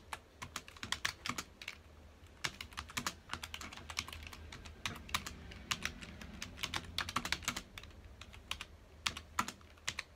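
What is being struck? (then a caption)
Plastic computer keyboard. Fingertips of both hands type on a full-size black plastic computer keyboard with hollow key housings, resting on a dark desk. Rapid, irregular keystrokes make sharp, bright clicks that stop almost instantly, over a faint low hum.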